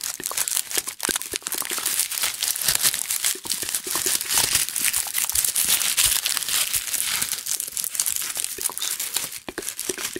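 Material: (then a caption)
Onion skin. Two whole, solid, round onions inside a red plastic mesh net bag are held up in both hands while fingers squeeze and rub the onion skins through the mesh. The result is a continuous, dense, papery crinkling and crackling, bright and high with almost no low end, made of rapid short crackles throughout.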